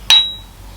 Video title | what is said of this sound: Restoring a 100 Year old Machine | you can hear the sort of higher pitch ringing sound